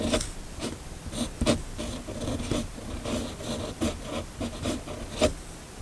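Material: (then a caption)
Paper. A red-bodied fountain pen with a steel nib, held in the fingers, scratches across a flat, thin sheet of white paper resting on a hard surface while writing cursive words. The sound is a steady run of soft, dry scratching strokes with a few sharper, brighter nib ticks standing out.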